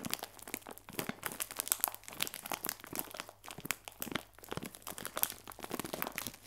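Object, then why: Plastic film bag of biscuits. A clear plastic film bag full of biscuits is squeezed, then scratched along the film with a fingernail. Dense, bright crinkling and crunching come in quick, irregular bursts with no ring afterward. The sound stays fairly quiet over a faint low hum.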